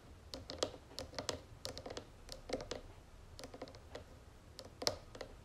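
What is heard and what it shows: Long nails of both hands tap rapidly on the sides of a round wooden jewelry box with gold trim. The result is quiet, irregular bursts of short, dry clicks with a hollow midrange knock and a bright, clicky edge. Each tap dies away almost instantly over a faint steady background hiss.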